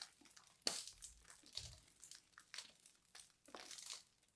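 A small knife blade scrapes and carves the crusty surface of a fist-sized, solid, crumbly purple-and-white dried soap ball held in hands with long dark nails. Quiet, dry, crisp scratching and crumbling bursts come in an irregular series, bright and high with almost no low end. Each scrape cuts off quickly with little ring.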